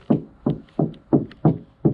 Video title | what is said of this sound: Removing the interior ready for Insulation - VW Transporter T5 Campervan Conversion (Part 3) | That door sounds a bit more solid.